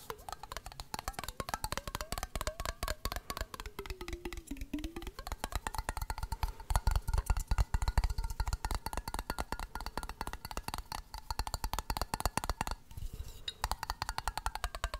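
A clear glass mason jar with a metal lid, partly filled with water, is tapped rapidly with fingertips and nails and tilted near the microphone. The result is a steady stream of short, dry taps with a deep, thudding body and little ring. During the first few seconds a faint tone sweeps up and down, then slides lower as the water shifts.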